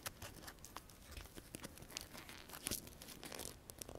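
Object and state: Sola wood flower.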